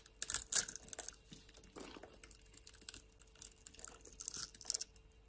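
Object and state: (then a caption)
Bar soap being carved. A metal blade scores a solid rectangular green bar of soap, held in a hand with long lilac nails, into small cubes and scrapes across it. Quiet, crisp, bright scratching and crunchy carving clicks come in uneven bursts with almost no low end, each cut stopping short.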